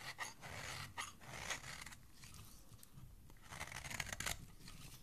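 A small, solid, cream-colored bar of soap is held in the hand and scraped across its face with a flat metal blade, shaving off fine curls. Crisp, dry scraping strokes with a bright, papery crackle rise and fade, softening in the middle before a louder burst of scraping near the end.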